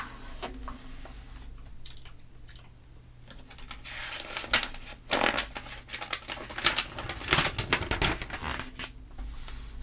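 A flat hand with long nails rubs and pats the pages of an open glossy paper catalog magazine on a table, and pages are turned. Soft, bright scratching and rustling swell into sharper, crisp swishes and flaps as the pages flip, loudest in the second half over a faint steady low hum.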